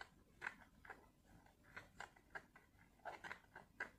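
A small flat blister pack of white tablets, with clear plastic bubbles and a foil backing, is held in both hands and scratched and tapped with long fingernails. Quiet, sharp plastic clicks and crinkly taps land one after another over a faint hiss. Each hit is short and dry, centred around 1.5 kHz with little low end.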